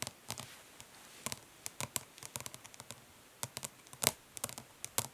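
Long nails tap quickly on the printed lid of a closed, flat, hollow plastic eyeshadow palette. There are about 21 light, bright clicks with very short decay, in irregular clusters over a quiet background.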